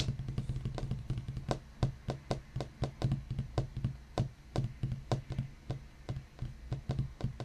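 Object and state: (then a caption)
Wooden desk tapped with fingertips. Fingertips of both hands tap quickly on the large, solid top of a black wooden desk, with the right index finger lifted between taps. The taps make a rapid, uneven stream of soft, dull knocks with a low woody body around 130 Hz, each dying away almost at once.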